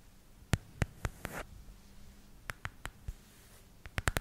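Long red nails tap and scratch the back of a small, solid black plastic smartphone case with paw-shaped cutouts. Sharp, short clicks come in uneven bursts, with a brief scratchy rasp early on, over a faint low hum.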